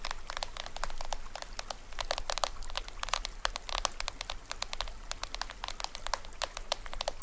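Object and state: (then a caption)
Toy drum shell scratched and tapped. Fingernails scratch and tap the side shell of a small hollow toy drum, which is held on its side and has a printed white surface with cords. The result is a rapid, irregular stream of dry, bright clicks and scratchy ticks that stop almost instantly, over a faint low rumble.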